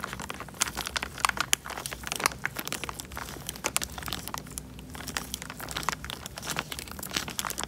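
Fingertips squeeze and crinkle a small, clear, thin plastic bag full of water held in front of a microphone, with bubbles visible inside. The result is a steady stream of bright, crisp crinkling and sharp crackles over a faint low hum, with no lingering ring after each crackle.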